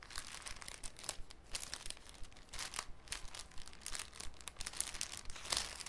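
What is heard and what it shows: A thin, clear cellophane sheet is handled with the fingertips, crinkled, and folded into a cone. The result is soft, irregular crinkling broken by sharp, bright crackles that rise and fall quickly, with a low background rumble underneath.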